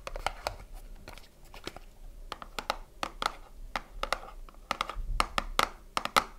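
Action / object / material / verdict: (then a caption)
tap / small cardboard box / cardboard / none. A small closed cardboard soap box is held and turned in the hands while fingertips and long nails tap its front and side. The result is a quick, irregular run of short, dry taps with a faint hollow tone and crinkly handling noise between them.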